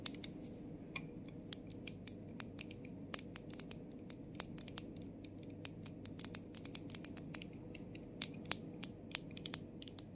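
Fingernails tap and scratch the body of a plastic body mist bottle, then move to the top of its clear plastic cap. Quick, dry, bright clicks with almost no ring sound over a steady low background noise.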